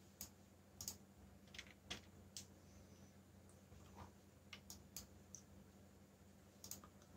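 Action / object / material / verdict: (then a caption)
tap / plastic mechanical keyboard keys / plastic / none. Fingertips type on a backlit mechanical keyboard with black plastic keycaps, producing sharp, bright clicks at an irregular pace. The keystrokes sit over a steady low hum.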